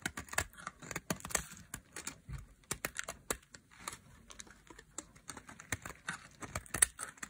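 A solid, dry pink soap bar held in a hand with long nails is shaved with a metal blade into thin flakes. Quick, dry scraping and carving strokes crackle with bright, crisp detail. They arrive in a steady, irregular stream with almost no ring between them.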